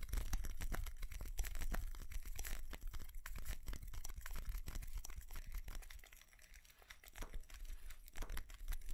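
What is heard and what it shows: Fingernails scratch and tap the body of a small white ceramic light-up Christmas tree with colored bulbs. Dense, irregular scratching mixes with quick, dry taps over a steady low rumble, softening briefly near the end before picking up again.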